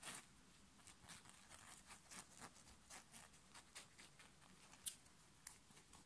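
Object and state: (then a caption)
Knit fabric shirt being scratched. Fingertips and nails scratch and grab a black knit fabric short-sleeve t-shirt worn on the chest. Quick, quiet, bright rasping strokes follow one another in a steady stream of dry, short bursts with no ring. A sharper snap stands out near the end.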